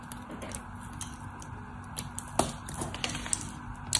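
A solid white soap bar held in the hand is scraped and shaved with a craft knife, and chips break off. Soft, dry scraping runs throughout, broken by sharp, bright crackling clicks as the chips snap away, over a faint steady low hum.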